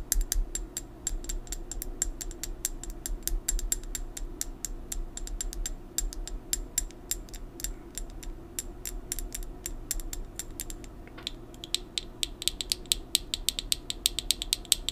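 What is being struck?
Plastic pill bottle.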